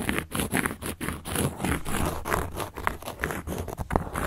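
A carving tool scratches across the surface of a large, round, solid cork board in rapid, repeated short strokes. The result is a dry, gritty scraping and patter with a low, muffled body and a thin bright hiss.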